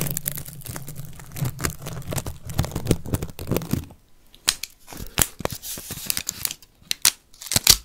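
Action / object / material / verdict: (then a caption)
scrape / whole onion with papery outer skin / onion skin / none. A whole, solid yellow onion with dry papery skin is held close to the microphone while fingernails scratch its outer skin and begin to pull at it. Dense crinkling and tearing fills the first four seconds over a low rumble. After that come sparser, sharper bright crackles and snaps.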